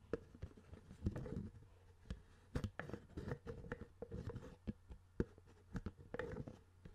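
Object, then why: Plastic CD spindle case lid. Fingers tap and scratch repeatedly on the hollow clear plastic lid of a CD spindle case with a black base, held close to the microphone. Sharp, dry clicks come in quick irregular bursts with soft scratchy rubbing in between, over a faint low hum, each tap dying away almost instantly.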